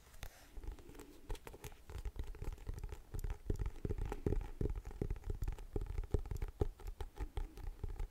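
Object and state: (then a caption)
Cardboard hardcover notebook. A closed hardcover A5-size planner with a floral-printed paper-covered cardboard cover is held up in both hands while medium-length painted nails tap across its surface. Rapid, dull tapping clicks arrive in an irregular patter with a low, thumpy body and very short decay.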